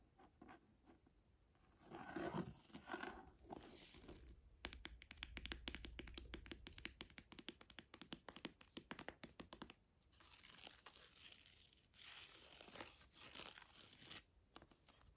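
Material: Leather.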